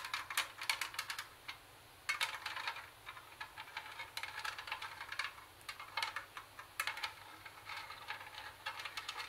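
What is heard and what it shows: A hollow, portable Sony CD and cassette boombox with a plastic housing is tapped and scratched with very long acrylic nails on its perforated metal speaker grille and its plastic case. Quick, bright clicks and scratchy taps come in dense clusters, with brief quiet gaps between bursts. Each tap is short and dry, with almost no low end.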